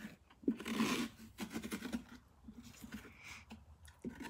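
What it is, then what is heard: Pumpkin rind scratched with nails. Long dark-painted nails scratch and rub across the ribbed rind of a large orange pumpkin, its visible side uncut, held steady with one hand on a wooden workbench. Quiet, dry, crunchy scraping strokes come in uneven bursts, with the longest and brightest rasp near the start and softer rubbing after.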